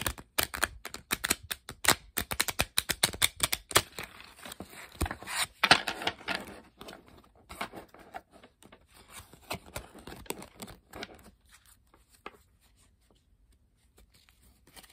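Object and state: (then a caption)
Paper playing card deck. A standard deck of thin coated-paper playing cards with blue backs, held in both hands with long pink-painted nails, is riffle-shuffled and bridged in the air, then fanned and squared. The cards flex and flutter against each other in a rapid burst of bright, crisp clicks and snaps with a papery whoosh. Softer scattered taps and rustles follow and fade to near silence after about 12 seconds.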